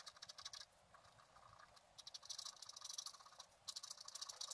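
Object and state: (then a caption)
Scratch art card being scraped. A wooden stylus scratches fine lines near the top of a fountain drawing on a flat, black-coated scratch art card held in one hand. Quick, bright, papery scratching strokes come in bursts, with a softer, steadier stretch in the middle before the sharp strokes return.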